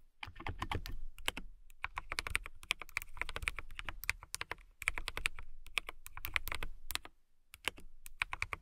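Fast typing with long fingernails on a transparent acrylic mechanical keyboard with clear plastic keycaps and RGB lighting. Dense runs of sharp, bright clicks ring near 2.2 kHz over a low thump, broken by brief pauses.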